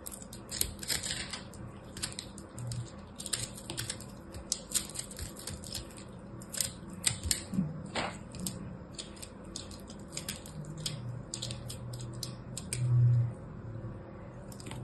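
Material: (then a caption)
Soap. A small solid ball of pressed blue soap chips, held in the fingers, is sliced and scraped with a small black blade. Many quick, dry, crisp cuts and crackles with bright tops sound over a steady low hum, with a louder, duller scrape near the end.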